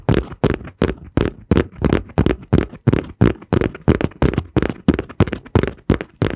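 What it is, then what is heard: Folded cardboard piece, tapped and crinkled. A small, folded, taped brown kraft cardboard piece is held close in both hands while fingertips tap, squeeze and scratch it, crinkling the paperboard. Quick, fairly steady bursts of dry crinkling and scratching follow one another at about three per second. Each burst has a soft low thump and a bright papery crackle that stops almost at once.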